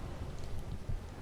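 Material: Nothing is struck.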